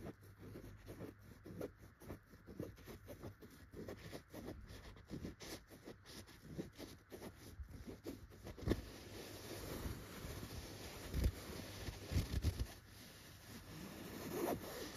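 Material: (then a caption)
Chenille fabric. Long red-painted fingernails scratch across the tufts of a yellow tufted chenille fabric pillow. The first half is a run of quick, soft, muffled scratching strokes, mostly low in tone; it then turns into a denser, steadier rustle broken by a few louder bumps.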